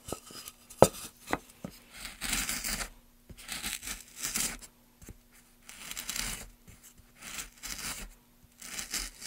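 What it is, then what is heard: Basswood block. A gloved hand works a wooden-handled chisel across the surface of a solid pale basswood block, making dry, bright scraping bursts. Short scrapes alternate with sharp little ticks, and a gloved hand brushes the loose shavings off the wood between strokes.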